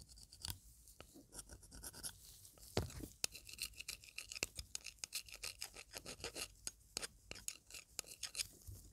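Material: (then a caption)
Silver. A thin metal pick scrapes and taps the inner and outer surface of a wide, hollow silver band ring held in gloved fingers. It makes a run of quiet, bright, dry scratches and sharp clicks with almost no ring-out, plus a few louder taps.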